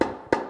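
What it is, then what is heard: Transmission clutch piston not yet fully seated. A long pry bar taps a 350 transmission clutch piston down into its aluminum case while the piston is not yet fully seated. Two distinct taps are heard, each a short, hollow knock centered in the midrange near 355 Hz that fades quickly.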